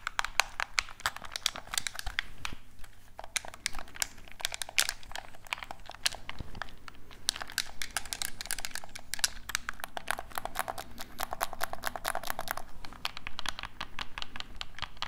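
A black hollow plastic game controller is held in both hands, tapped with fingertips while its buttons are clicked. Dense, rapid, crisp clicks and taps with bright, short transients continue throughout over a faint, steady low hum.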